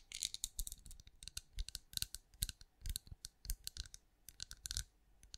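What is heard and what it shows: Long acrylic nails tap a hand-sized, cream, pinecone-shaped wax candle that appears solid, held beside a microphone. The result is quick, irregular clusters of bright, dry clicks with a soft low thump beneath some taps, each dying away almost instantly.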